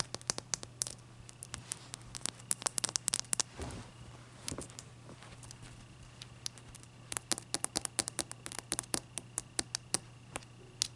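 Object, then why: Block of ice tapped and scratched with fingernails. Long dark-purple nails tap and scratch a clear, solid, palm-sized ice block resting on a white towel as it is turned. Dozens of sharp, bright clicks come in irregular clusters, with softer scratchy rustles between them. A faint steady low hum runs underneath throughout.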